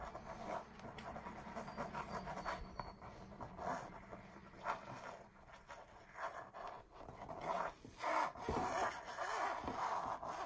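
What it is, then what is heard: Textured canvas wall art. Long purple nails scratch the raised texture of an embossed red mandala canvas wall art piece while a ringed hand rests on the surface. Uneven, soft rasping and scraping strokes come in irregular bursts with mid-range energy and a few brighter, sharper scratches.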